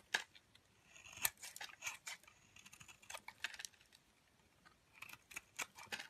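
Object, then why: Bar of soap cut with a blade. A metal blade shaves thin strands off the edge of an off-white, solid, rounded bar of soap held in a hand with long dark nails. The result is a quiet run of short, crisp, bright scraping cuts, clearly separated against near silence, with almost no low end.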